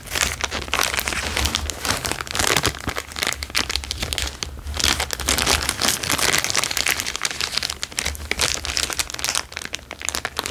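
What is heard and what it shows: A large, thin, crumpled sheet of clear plastic is stretched and crinkled by hand, then pressed on the table with the fingers. It makes dense, bright crackling and crinkling in rapid overlapping bursts that keep going for the whole clip, with a faint low hum underneath.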